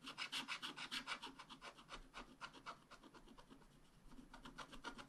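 A wooden stylus scratches dense, short hatching lines into the coating of a thin black-coated scratch-art card lying flat on a table. A rapid, uneven run of dry, raspy strokes is heard, with bright, hissy scrapes centred around 1.4 kHz. The strokes soften in the middle before picking up again at the end.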